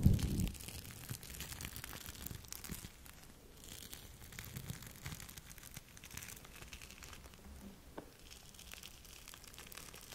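Red fabric gloves covered in small plastic sequins, worn on both hands, are rubbed and brushed close over a camera lens. After a brief louder low thump at the start, the sound settles into a steady, soft, irregular crinkling and rustling with many small scratchy ticks.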